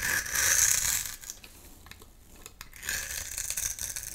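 A dry, solid lime-green rectangular soap bar with a dark edge is held in the hand and scraped with a metal utility knife blade, shaving off crumbly green powder. Bright, gritty scraping and crumbling fills the opening second, fades to faint ticks and crackles, then a second scraping pass returns near the end.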